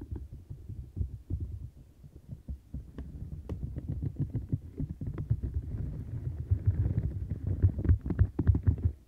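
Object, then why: Silicone scrubber mat with bristles and bumps. Long nails scratch across the bristles and bumps of a turquoise silicone textured scrubber mat while the other hand rests on its edge. The result is a fast, uneven stream of soft, deep, muffled scratches and thumps, heavy in low tones, with short bright clicks that grow louder toward the end.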